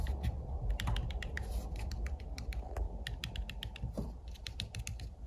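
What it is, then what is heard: Fabric-covered plastic portable speaker. Fingertips and nails scratch and tap the woven fabric mesh cover of a white cylindrical UE portable speaker made of plastic, standing upright. Rapid, dry clicking taps and scratchy rustles come in a fast, uneven stream over a steady low rumble, each tap short and sharp with a bright edge.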